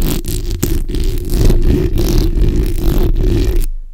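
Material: Steel mesh.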